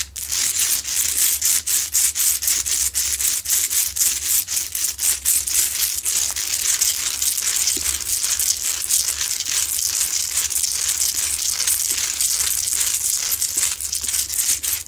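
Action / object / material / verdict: scrape / rock salt lamp / rock salt / none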